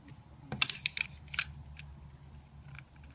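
A solid rectangular white soap bar, held in the fingers, is scraped and carved with a metal utility knife blade, and soap shavings pile up on a granite counter. Five short, bright, crisp scraping cuts sound in quick, irregular succession over a faint low background hum.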